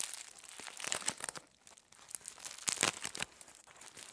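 A thin sheet of aluminum foil is crumpled and squeezed by both hands into a loose roll on a table. The clip is full of dense, bright crinkling and crackling bursts with almost no low end, easing into a softer stretch midway before louder crunches return.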